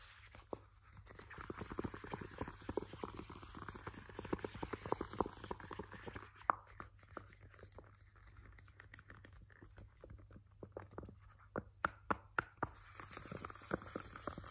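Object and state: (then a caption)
Plastic hand cream tube. A filled purple Nivea squeezable plastic hand cream tube is gripped, tapped and scratched with fingernails. Quick, irregular, dry plastic taps and soft crinkly scratching come in busy clusters, with a few sharper clicks standing out near the end. A steady low hum sits underneath throughout.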